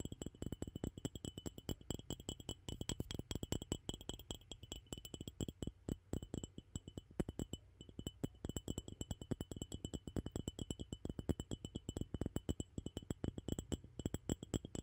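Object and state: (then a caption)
Ceramic mug tapped by fingernails. A glossy black ceramic mug, hollow and empty, is tapped on its rim and sides by fingernails. The result is a fast, continuous stream of short, dry clinks with a low body around 100 Hz and faint high ringing bands, each tap dying away almost at once.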